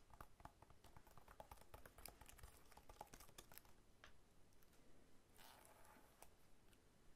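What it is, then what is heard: Whole pineapple. Fingertips and short nails tap and scratch the scaly rind of a whole, solid pineapple lying sideways on a table. The result is quiet, rapid, dry clicking taps with crisp high scratchy ticks and a brief rougher scraping burst near the end.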